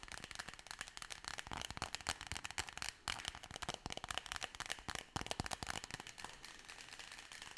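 Long fingernails tap and scratch rapidly along a hollow, forearm-length brown cardboard tube, possibly wrapped in tape or paper. The result is a dense, dry stream of crisp, bright clicks and scrapes that die away almost instantly, with little low end.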